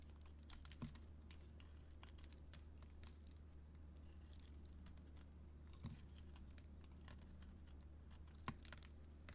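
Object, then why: Bar of soap scraped by a metal blade. A metal blade scrapes and carves flakes off a solid gold-coated bar of soap with a green core and bead and glitter decoration, held in hand. Quiet, crisp, bright scratching and crinkly shaving sounds come in a rapid stream, with a few sharper cuts, over a steady low hum.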